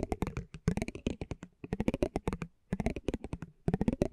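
A metal spiked pinwheel is rolled and scratched across a small, thin cardboard basketball trading card held in the hand. It makes quick, dry, clicking taps in four rapid bursts separated by brief pauses. Each tick is short and muffled, with a low-middle body, little ring and faint bright edges.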